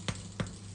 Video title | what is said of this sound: Homebrewer's Spent Grain Vol 1: Baking Tasty Bread | it's a hollow hollow tap